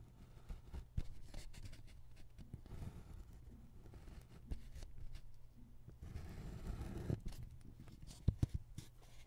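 A hand scratches a metal-bodied ballpoint pen across a single flat white paper sheet lying on a wooden table, drawing a cat outline while the other hand steadies the sheet. Quiet, dry scratching strokes come in short runs, with a few sharper ticks of the pen standing out near the end.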